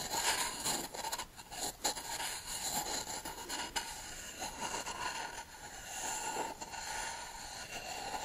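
A short hollow reed tube, held upright, is rubbed and tapped across the surface of a solid beech wood plank held in one hand. The result is a steady, bright scraping and rasping with a ringing tone around 900 Hz and occasional sharper taps standing out from the rub.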